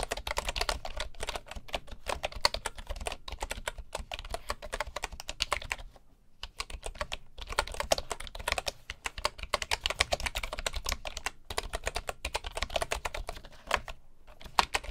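Both hands type with their fingertips on the wooden keys of a full bamboo keyboard. The result is a fast, steady stream of dry, short, bright clacks with a low thump beneath. The typing pauses briefly around 6, 7, 11.5 and 14 seconds.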